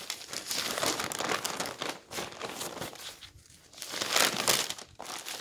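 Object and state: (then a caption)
Newspaper pages rustling. A hand wearing rings and a bracelet lifts and turns the thin pages of a large open newsprint newspaper lying flat on a table. The pages rustle and crinkle in dense, bright bursts with almost no low end, dip to near quiet midway, then return with the loudest crinkling before a brief drop near the end.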